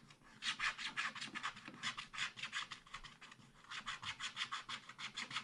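A wooden stylus scratches the thin black wax-coated surface of a scratch-art paper card in a spiral pad, working repeated strokes across the sky area. Quick, dry, bright rasping strokes come in steady rhythmic bursts, easing briefly near the middle before picking up again.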